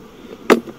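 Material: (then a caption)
Wood. A single tap on a wooden beehive holding honey frames, done to check the hive's food stores, gives one short, dull knock centred around 440 Hz that dies away almost at once. The solid, full sound indicates the hive is full of honey.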